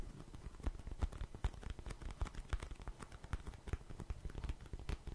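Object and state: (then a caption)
Cardboard tissue box, tapped and scratched. A small, hollow, printed Cheeky Panda cardboard tissue box is tapped and scratched with fingernails. A dense run of quick, dry taps and scratchy crackles sounds low and hollow, with sharp clicks and almost no ring after each hit.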